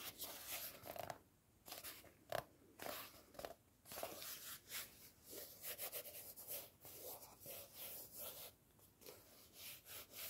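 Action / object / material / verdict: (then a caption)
scrape / cloth-covered hardcover book / cloth, board / none. Fingertips and nails scratch and tap the spine and flat front cover of a closed red cloth-covered hardcover book, *'Twas the Nightshift Before Christmas*, held in the hands. Quiet, bright, dry scratching rustles alternate with short soft taps that die away almost at once. There is very little low end, and the taps carry a faint papery mid-range knock.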